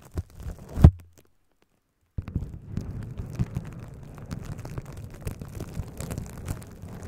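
A sheet of plastic bubble wrap, wrapped in a cone around a microphone, is scratched and rubbed with long acrylic nails and the fingertips of both hands, with no popping. A few muffled low thumps and rustles, including one louder bump, give way to about a second of silence. Then a steady, dense, low crackling scratch runs to the end.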